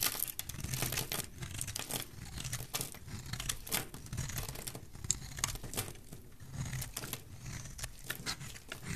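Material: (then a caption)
Soap. A solid, dry, pale green rectangular bar of soap is scraped and cut with a metal utility blade. The result is a steady run of crisp, crumbly scraping and tearing sounds with many short, bright transients over a low rumble. Some cuts land with sharper cracks.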